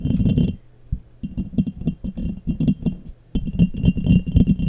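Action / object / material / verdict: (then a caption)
tap / glass jar / glass / none. Long nails tap and scratch an embossed, clear, hollow and empty glass mason jar turned upside down over the microphone. Quick, irregular clicking taps and scrapes come in dense bursts, with a thick low body and bright glassy ringing tones above. There are short quiet pauses with a faint low hum between the bursts.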